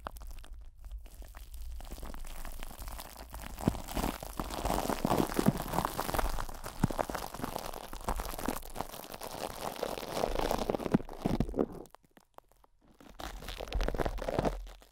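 Cling film wrapped over the metal grille of a large desktop microphone is squeezed in cupped hands while fingertips rub and scratch the crinkled film. Dense, irregular crinkling and scratching rumbles through the low end with a steady bass hum underneath. It drops to near silence around twelve seconds before resuming.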